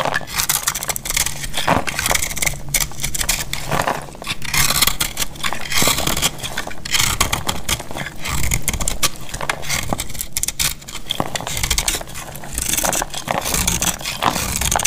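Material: Soap.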